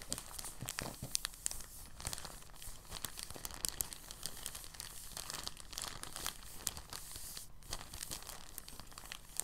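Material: Plastic.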